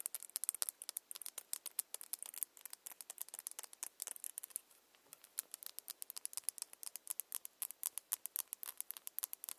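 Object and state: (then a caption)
Plastic tail comb. Long nails rapidly tap and scratch a long, solid, clear glitter plastic tail comb. The result is a quick, dense run of dry, bright clicks and ticks with almost no low end and no ring, with a brief lull just past the midpoint before the tapping picks back up.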